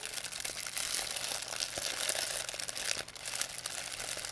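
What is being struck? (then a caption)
Thin plastic bag. A thin white plastic pharmacy bag with red and blue print, crumpled into a ball, is crinkled and squeezed in both hands by fingers with long painted nails. The result is a steady, dense, bright crackle of quick, short crinkles with almost no low end.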